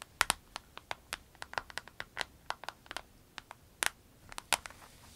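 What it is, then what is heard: Vinyl pencil case tapped with nails. Long nails tap and scratch the surface of a small, clear orange vinyl pencil case with a snap flap, pens inside, lying diagonally. About twenty quick, sharp, bright ticks come in an irregular patter, each dying away almost instantly. A faint scratchy rustle sits between them.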